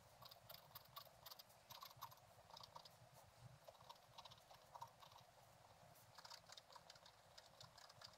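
A thin wooden stylus scratches the right side of a black-coated scratch-art paper page with a gold underlayer, lying flat in a book. Quiet, rapid, irregular scratchy strokes and crisp ticks come through with a bright, papery rasp and a faint low hum underneath.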